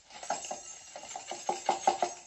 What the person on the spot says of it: Voilà, des énormes cloches qui font vraiment cloche.